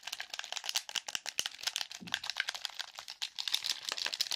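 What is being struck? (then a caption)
Plastic game controller. A black plastic game controller with a hollow casing is held in front of the mic while its buttons are pressed and its shell is tapped and scratched quickly with fingertips and nails. Fast, dense rattling clicks and bright scratching fill the clip, with very little low end and sharp, short-lived hits.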